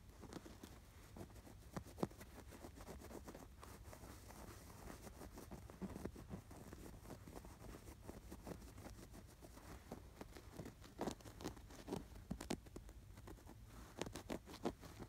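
Fingertips scratch the embroidered collar and stitches of a stuffed canvas pillow with an appliquéd sweater design. The result is a quiet, soft, dry scratching over a low, steady hum, broken by brief, sharp ticks that come closer together toward the end.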